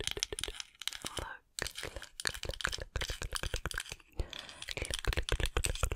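Long acrylic nails tap the bowl of a small, solid, light wooden cooking spoon in close-up, making about 30 quick, dry, irregular clicks with no ring. The taps come in uneven bursts, with a brief silent gap near the start and a softer rustling stretch partway through.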